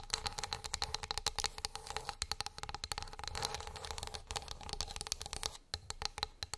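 Long nails tap quickly across the surface and along the edge of a flat, solid wooden board. The result is a rapid stream of short, bright clicks with a faint high ring and light scratchy texture between them, pausing briefly near the end before the tapping resumes.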